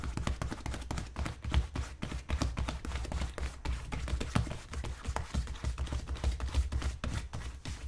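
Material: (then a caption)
Leather. Fingertips rapidly tap and pat the toe and vamp of a tan polished leather wingtip boot worn on the foot and resting on a shoe-shine stand. The result is a dense run of soft, short, dull taps, mostly low and thumpy with little brightness, each dying away almost instantly.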